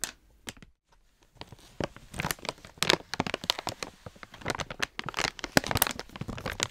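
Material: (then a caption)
Foil-lined plastic. Long painted nails and fingertips crinkle and scratch a medium-size, foil-lined Bakers Sizzlers plastic dog treat pouch filled with treats, then pinch its top edge. A few sparse crackles and a brief silence give way to dense, bright, dry crinkling and tearing-like rustles that grow louder and busier toward the end, each snap cutting off almost instantly.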